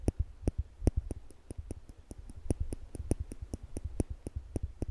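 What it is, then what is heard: Stainless steel tweezers clicking. Slim, polished stainless steel tweezers are held upright between the fingertips beside a microphone, and their arms are pinched so the metal tips tap and click against each other. The result is a steady, rapid series of short, dry clicks with almost no ring. Each click has a soft low thump and a faint bright tick on top.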